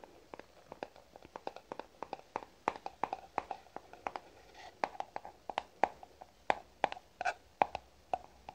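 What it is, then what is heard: Hollow plastic jar. A medium white plastic cream jar with a green screw lid, hollow and held in the hands, is tapped and scratched with fingernails. Many quick, dry clicks with a hollow, boxy tone around 800 Hz come in an irregular stream, with soft scratching between them and almost no ring.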